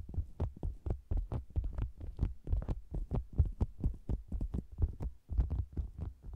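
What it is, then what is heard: Faux leather cosmetics bag. Fingers with long green nails hold the sides of a soft, hollow, round red and zebra-print faux leather cosmetics bag with a microphone inside, tapping and scratching it. The result is a quick, irregular run of deep, muffled thumps with almost no ring, mixed with faint scratchy rustling.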